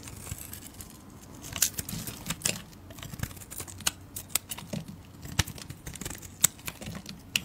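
A solid green, palm-sized rectangular soap bar, held in hands with long red nails, is shaved with a metal utility blade. Crisp, bright scraping and crackling snaps come in irregular bursts over a soft, low rustle, each one short and dry with almost no ring.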